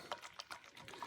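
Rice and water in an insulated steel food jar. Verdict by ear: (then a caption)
Not done. A lidded Stanley vacuum-insulated steel food jar of cooking shrimp jambalaya is shaken, giving quiet, bright splashes of water sloshing inside with a resonance near 950 Hz. The sloshing shows the jambalaya is not done yet, because the rice has not absorbed the liquid.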